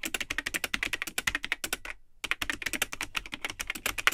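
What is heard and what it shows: Fingertips type continuously on the hollow, yellowed plastic keycaps of the built-in keyboard of a vintage Tandy 1000 HX all-in-one computer with a cream plastic case. The result is a rapid stream of short, bright plastic clicks with almost no ring, broken by a brief pause near the middle.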